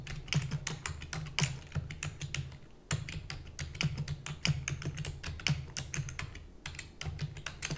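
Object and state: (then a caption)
Plastic computer keyboard. Rapid typing with long natural nails and fingertips on a full-size black plastic computer keyboard with hollow keys. The taps come as a fast, uneven stream of short, bright clicks with quick decay. A steady low hum runs underneath throughout.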